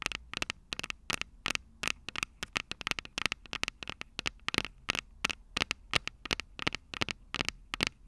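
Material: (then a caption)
Metal. Long purple nails tap and scratch the small metal microphone capsules on top of an upright Tascam DR-05 recorder. A rapid, irregular stream of sharp, dry, bright clicks and scrapes stops instantly with no ring, over a faint low rumble.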